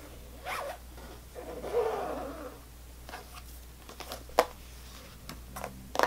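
Long fingernails tap and scratch the paper-labeled lid of a clear plastic rectangular tub full of sour strawberry belts. Soft scratchy rasps mix with light, quick plastic taps and a few sharper clicks. All of it sits over a quiet, low background hum.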